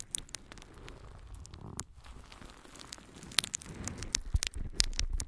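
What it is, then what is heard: Natural sea sponge. A yellow, porous natural sea sponge is held in both hands and scratched and squeezed with long nails. It gives a soft, irregular crackling and rustling patter, with sharp bright clicks and scratches standing out over a low, muffled handling rumble.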